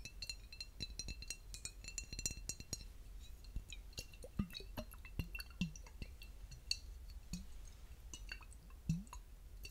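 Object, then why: Glass bottle filled with liquid. A clear, flat-sided glass bottle filled with pale pink liquid is tapped with fingertips and short nails on its glass surface. A quick flurry of bright, clinking glass taps gives way to sparser taps with short, low, liquid-like blips, all at a quiet level.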